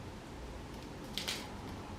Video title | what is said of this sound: ASIAN DAD COOKS Crispy Pork Belly At Home QUICK AND SIMPLE | Can you hear the sound, breaking sound? See how crispy it is?